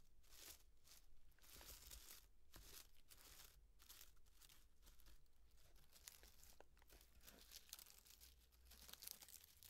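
A small hollow cardboard llama piñata with crepe and tissue-paper fringe, standing on a table, is scratched and rubbed with long nails and fingertips. Steady bursts of dry crinkling, rustling and scratching sound bright and papery, over a faint low hum.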